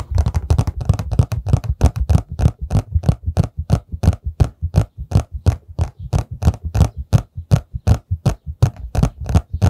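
A hollow, rectangular printed paperboard tissue box, held upright in both hands right in front of the microphone, has its sides tapped and scratched with fingertips and nails. The result is a fast, uneven run of dry, hollow, low thuds, each with a short papery tick on top, packed closely at first and then settling into a steadier pace of roughly three per second. Every tap dies away almost at once.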